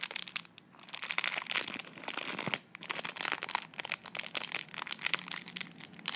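A slim tube sealed in clear plastic film is held in both hands while long nails and fingertips squeeze, crinkle and scratch the wrapper. Dense, bright crackles and scratchy rustles come in bursts, broken by a few brief quiet gaps. There is almost no low end, and each crackle ends instantly.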